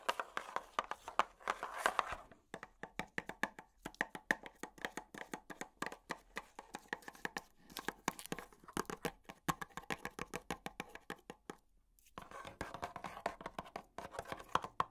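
A tall, hollow, black printed cardboard product box is held in the hand and tapped with long plastic finger picks. The result is a rapid run of many short, dry, papery taps with a mid-range hollow tone and almost no low end, broken by brief pauses. Denser flurries come at the start and near the end.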